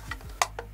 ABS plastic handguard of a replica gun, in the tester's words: it sounds hollow but there's no huge stress on this part